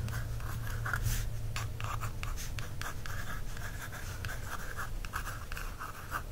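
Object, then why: Paperback book cover, card. Soft, dry scratching strokes of a wooden stick over a paperback book cover, over a low steady hum.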